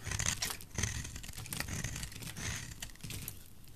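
A solid oval bar of dry white soap, held in fingers with dark nails, is scraped and shaved with a metal utility knife blade. Rapid dry scratching and crinkly shaving strokes run continuously, with a bright, hissy edge over a soft low thump from the handling.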